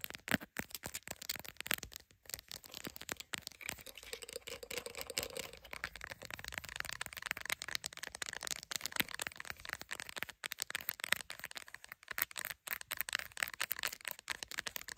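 Long acrylic nails rapidly tap and scratch the camera area of a solid, hand-sized smartphone in a clear plastic case with glass lenses, held in a tripod clamp. The result is a dense, continuous stream of crisp, bright clicks and scratchy rasps with almost no low end, each tap dying away instantly.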